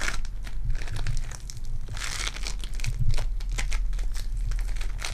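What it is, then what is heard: Foam bead clay being squeezed and torn. A lump of sticky purple foam-bead clay is squeezed and torn apart by fingertips with long dark nails. Dense, crunchy crinkling and crackling snaps with bright, sharp edges ride over a steady low rumble, rising briefly louder around the middle as the clay pulls apart.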